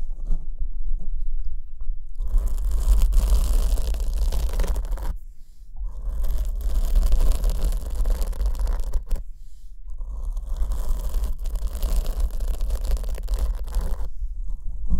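Long acrylic nails scratch a black foam windscreen on the left microphone, which is held from behind. A dense, scratchy rustle rides over a deep, constant low rumble, fading briefly around five and nine seconds before picking back up.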